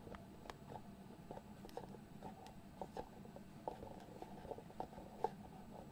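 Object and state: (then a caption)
Cardboard box lid tapped and scratched. Fingertips scratch and tap the lid of a small, hollow white cardboard box. A series of quiet, dry taps with a hollow mid-range knock over a soft, continuous scratching. Each tap dies away almost instantly, leaving a faint, muffled texture.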